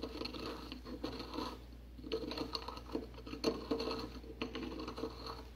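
A porcelain pestle grinds and scratches white powder in a white porcelain mortar held in a gloved hand. The sound is a gritty, pattering scrape with occasional sharp clinks against the bowl wall, over a faint steady low hum.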